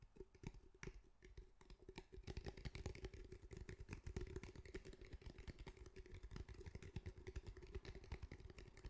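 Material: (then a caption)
Fabric. A grey fabric-mesh cylindrical speaker held in the hands is tapped with the fingertips and lightly drummed on its sides. Rapid, dense, soft thuds with a deep, muffled low end overlap continuously over a faint steady midrange tone. Each tap dies away almost instantly.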